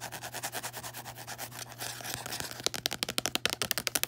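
Fingertips and long nails rub and scratch across the front of a small closed "On Tyranny" paperback with a textured card cover. Soft, rhythmic hissing strokes give way to quicker, sharper scratches, over a faint steady low hum.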